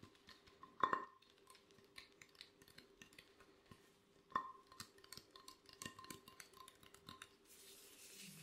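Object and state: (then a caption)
Ceramic plate. Gloved fingertips tap rapidly across the surface of an empty, glossy black ceramic plate, making a quiet stream of soft, irregular clicks. Two firmer taps stand out, each with a brief ringing tone near 1 kHz. A faint high hiss rises at the end.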